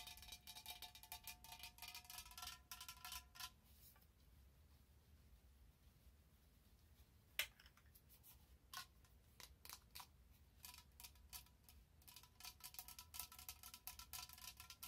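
Long nails tap and scratch an orange plastic pumpkin spice lotion bottle with a cap, held horizontally. Rapid, bright, clicky tapping and scratching fills the opening seconds, then fades to a quiet stretch broken by one sharp tick and a few scattered taps. A dense flurry returns toward the end, all over a faint steady low hum.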